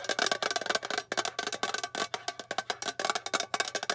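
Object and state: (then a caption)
Metal tin box tapped with fingernails. Long painted fingernails rapidly tap the bare silver underside of a small, flat, rectangular, hollow metal tin box. Quick, bright, dry clicks ring with a faint metallic tone around 1.5 kHz and die away almost instantly. They come in an uneven, fast run that never lets up.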